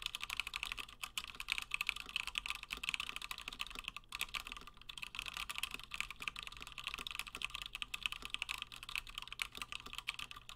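Fingertips of both hands type fast on a Gingham 60% plateless mechanical keyboard with Gateron Black switches and cream and blue PBT plastic keycaps. The result is a dense, steady stream of short, dry, bright clacks centered around 2.5 kHz, with almost no ring after each keystroke, over a faint low hum.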